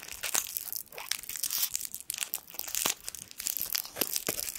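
A small gold foil sweet wrapper is crinkled and twisted between the fingertips. It makes a steady stream of bright, sharp crackles and snaps with almost no low end, each crackle dying away at once.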